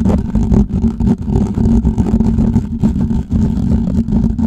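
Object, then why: Perforated metal microphone grille. Fingertips and nails of both hands scratch the hollow, perforated metal mesh grille of a large USB condenser microphone in the style of a Blue Yeti. The result is a dense, continuous, close-up rasping and rubbing with a strong low rumble and a steady tonal hum near 200 Hz. There is almost no bright high end, and the level dips only briefly between strokes.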